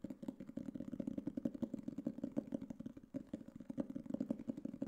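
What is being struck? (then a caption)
Hardcover notebook with cardboard cover. A black hardcover notebook or book case, about book size, is held upright in both hands and tapped on its cover with fingertips and nails; the cover looks like cardboard board with a textured coating. The result is a rapid, steady stream of short, dull, hollow taps with a low-mid tone and little brightness, broken by a brief pause near the three-second mark.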